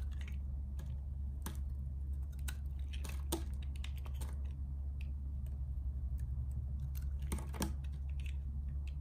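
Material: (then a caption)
Soap. A solid purple bar of soap is held in the hand and shaved with a metal utility-knife blade, carving off thin layers. Soft, crisp scraping and clicking strokes come at irregular intervals, some with bright edges, over a steady low hum.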